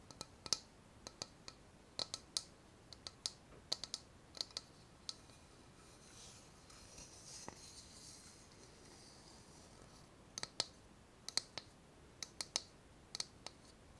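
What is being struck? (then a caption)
Small ceramic bowl. A small, empty, hollow floral ceramic bowl is turned in the hands while long nails and fingertips tap its outer wall and base. The taps come as sharp, bright clicks with a high, glassy ring that dies almost at once, arriving in quick clusters. A quiet stretch of soft rustling hiss sits in the middle before the tapping resumes.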